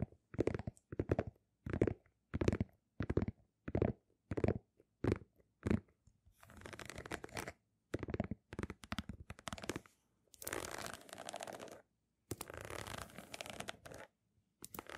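Long nails scratch the textured rubber outsole of a single Nike sneaker held sole-up beside the microphones. Short, evenly spaced scratching strokes give way to longer, continuous rasping passages separated by brief silences. The sound is quiet, dry and low-weighted.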